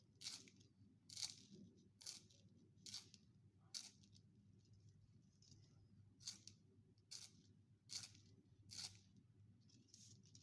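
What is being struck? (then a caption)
Wooden pencil in plastic sharpener. A solid wooden pencil is rotated by hand in a small yellow plastic sharpener with a metal blade, shedding continuous wood shavings and graphite dust. The scrape comes as around ten short, bright, dry strokes at an uneven pace of roughly one per second, with a pause in the middle. A faint low hum sits underneath.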